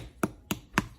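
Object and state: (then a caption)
Baked-through bread loaf, hollow. A no-knead bread loaf is tapped after baking to check whether it sounds hollow, which means it is done. Three short, hollow knocks are heard, each with almost no ring. The loaf is well done, a little too done, because the oven timer was never set.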